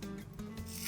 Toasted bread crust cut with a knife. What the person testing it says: You can hear how crispy the bread is.